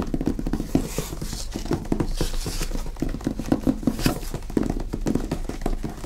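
A medium hardcover book, "The Normans," with an illustrated paper dust jacket, is held upright on a table and tapped quickly with fingertips and nails on its top edge and cover. The result is a rapid, steady run of dull, low taps that die away almost at once, with faint papery clicks from the nails on the jacket.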